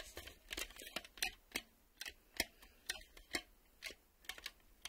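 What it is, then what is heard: Plastic VHS cassette tapped with fingernails. Thumbnails tap and click on the clear reel windows and ribbed plastic of a black plastic VHS cassette held still. The result is an irregular series of quiet, sharp, bright clicks that die away almost instantly, with very little low end.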